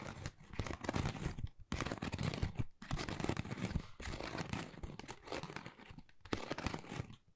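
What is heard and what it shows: Long nails scratch and tap a flat, pale pink, pebble-textured Dior cardboard folder that is thin and hollow. The result is dense, rough, crinkly scraping with a low, hollow body, heard in several sustained bursts separated by brief pauses.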